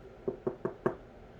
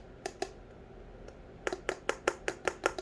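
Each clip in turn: First: Four quick, firm taps with a mid-low knock near 350 Hz, each dying almost at once: a thick, sturdy candle lid. Second: Quick, dry fingertip taps around 380 Hz with no ring: a thin candle lid that sounds almost like plastic.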